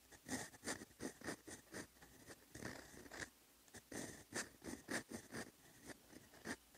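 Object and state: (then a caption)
Metal pen nib scratching on lined paper. A silver metal fountain pen nib writes in brown ink on flat lined writing paper, making slow scratching handwriting strokes. About sixteen short, dry scratches and swishes come in uneven bursts, each carrying a bright, papery hiss with a faint steady tone near 2 kHz. Brief quiet pauses fall between the strokes.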